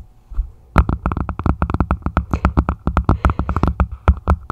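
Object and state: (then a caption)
Plastic martini glass. A red plastic martini glass rests upside down on a microphone while its thin stem and foot are tapped with long nails, the other hand holding the top. About 27 quick, dry taps follow a brief quiet start, each with a dull, bassy thump and almost no ring.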